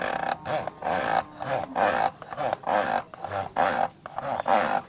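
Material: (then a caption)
Plastic. Fingertips and nails scratch and rub inside the hollow, rectangular black plastic lens hood of a camcorder. They produce a series of rough, rasping strokes that swell and fade at a steady, uneven pace. The hollow plastic gives each stroke a resonant, growl-like midrange tone with a bright scratchy edge.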